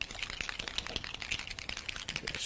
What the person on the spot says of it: Again, you can hear that ball bearing going within there.